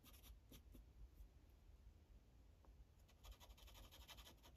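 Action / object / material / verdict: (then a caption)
scrape / felt-tip marker on a paper sheet on a hard clipboard / paper / none. A yellow felt-tip Sharpie marker colors a thin printed paper coloring page resting on a hard clipboard, rubbing in short back-and-forth strokes. Soft, bright scratchy strokes come in loose bursts, sparse at first and denser toward the end, over a low, quiet background rumble.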